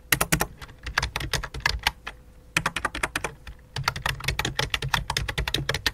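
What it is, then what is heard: Plastic computer keyboard being typed on. Both hands type rapidly with fingertips and long dark nails on a full-size white and light-blue plastic keyboard resting on black cloth. Quick bursts of short, bright clicky key taps with soft low thuds underneath are broken by two brief pauses, with each tap dying away almost instantly.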